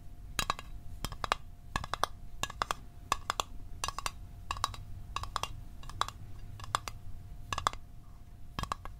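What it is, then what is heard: Small metal mint tin. A small, hollow, closed rectangular Altoids mint tin made of metal is held in the hands and tapped with fingertips and fingernails. The result is quick bursts of sharp, bright clicking taps with a light metallic tone around 1.1 kHz that dies almost instantly, set against a faint steady hum.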